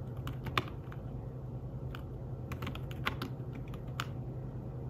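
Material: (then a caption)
Fabric. Fingertips tap on the keys of a thin, flat, grey fabric-covered folio keyboard for a tablet. The soft, short clicks come in an irregular typing rhythm with a few louder taps, over a steady low hum.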